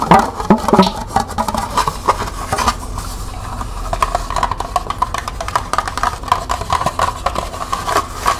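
Long nails tap quickly on the ridged side and base of a small, hollow, empty green plastic cup held sideways. The result is a steady stream of light, dry clicks with a hollow plastic ring centered near 800 Hz, and each tap fades almost at once.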